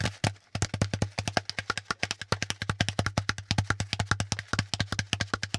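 Fingertips tap rapidly on a brown, hollow, pleated corrugated cardboard packaging insert, partly close to the mic, giving about 44 short, dry, papery knocks with almost no ring. A steady low hum runs underneath the whole time.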